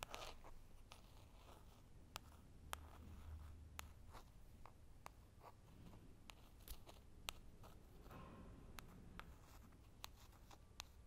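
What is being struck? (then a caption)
Small foil-printed cardboard box. Fingertips and short nails tap lightly on the front face of a small, hollow square cardboard makeup box with shiny holographic "Girl Powder" foil print, held in both hands. About sixteen quiet, sharp, dry clicks land at uneven intervals over a low, steady background hum, each dying away almost instantly with a bright edge.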